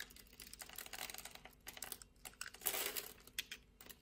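A metal utility blade scores the surface of a solid, translucent orange bar of soap held in the hand and scrapes off small cubes. Quick, crisp, bright scratching clicks patter like light typing, with a louder, rasping scrape in the middle and a few sharp ticks toward the end. The sound is quiet overall, with almost no low end.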